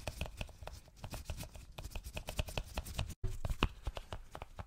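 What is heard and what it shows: Gloved fingertips tap quickly on a small, hollow white cardboard Apple product box, making a dense run of soft, low, hollow thuds with faint bright clicky edges. The tapping stops for a brief silent moment near the middle, then resumes at the same quick pace.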